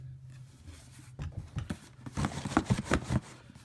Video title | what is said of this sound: Cricut Mystery Box - October 2015 Unboxing | this is the shakable box that you can hear stuff shaking